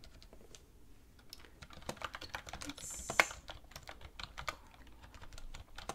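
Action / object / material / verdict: tap / plastic computer keyboard / plastic / none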